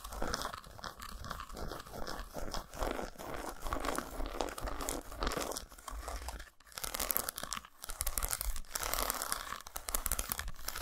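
A solid dark chocolate bar, unwrapped and resting on a towel, is scratched along its grooves and tapped on its squares by long nails. Dense, rapid scratching and crisp tapping blend into a steady crunchy rasp with bright high hiss. A brief lull falls just before the seven-second mark before the activity resumes.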